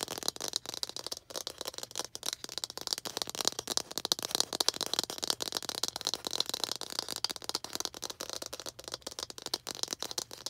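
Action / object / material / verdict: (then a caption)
tap / small plastic toy ball / plastic / none. A small hollow red plastic toy ball with baseball-style stitching is held in both hands and tapped and scratched with long green acrylic nails. Rapid, dense, dry clicks and scratchy rattling run continuously. The sound is bright and high with almost no low end, and each tap stops instantly.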